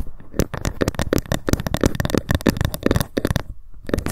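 A ruler is tapped rapidly with long fingernails, with occasional scratching. The result is a dense run of short, dry clicks with a low, thumpy body and almost no ring. It breaks briefly near the end before a few more taps.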